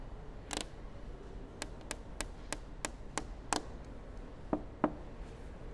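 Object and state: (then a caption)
Plastic car headlight lens. Long manicured nails and fingertips tap and scratch the large, clear polycarbonate headlight housing, a hollow hard shell, on the front of a grey Mercedes S-Class. Ten short, dry clicks with almost no ring sound at irregular intervals over a quiet background; the first is a brief scrape-like burst, and the last two are duller and lower.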